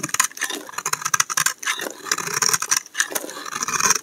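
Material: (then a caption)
Soap. A steel utility knife blade scrapes curls off the corner of a solid cream soap bar held in the hand. The result is a rapid series of short, bright, crisp scraping strokes with almost no low end, rising and falling in quick bursts.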